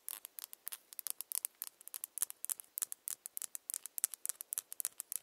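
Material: Plastic.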